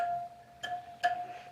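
A steel bicycle wheel spoke, just tightened with a spoke wrench, is tapped twice and gives a clear metallic ring near 720 Hz that carries on between the taps. The higher ring shows the spoke is now properly tight.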